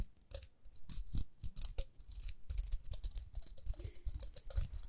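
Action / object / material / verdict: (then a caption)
scrape / plastic round hairbrush / plastic / none. Long nails scratch the ridged rim and dark bristle face of a small round pink plastic hairbrush. A close, steady run of short, dry scratches and crackles is heard, with bright hissy edges over soft low thumps. Each stroke stops almost at once, without ringing.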